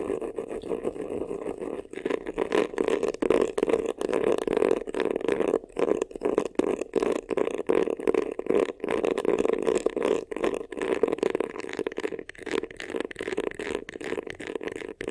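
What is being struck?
Faux leather vanity case.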